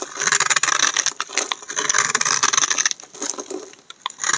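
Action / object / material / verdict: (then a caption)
scrape / bar of soap shaved with a knife blade / soap / none. A hand-sized solid green bar of dry soap, held in the hand, is shaved with a utility knife blade in repeated scraping strokes. Curled flakes fall away with a dense run of crisp, bright scratchy rasps. The sound has almost no low end and each stroke stops dry without ringing.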